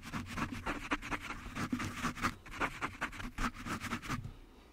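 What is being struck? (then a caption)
Foam microphone windscreen. A small, soft yellow foam windscreen on a black desktop microphone is rubbed and squeezed with the fingertips and palms of both hands throughout. This produces a steady run of close, muffled scratching and crunching rustles with a low, boomy thump underneath. The sound fades out quietly near the end.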